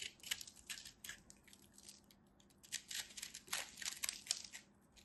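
A craft knife cuts and scrapes a solid, fist-sized ball of compressed multicolored soap flakes, sending crumbs flying off. Bright, dry crunching and scraping bursts come in irregular clusters, with short pauses between them.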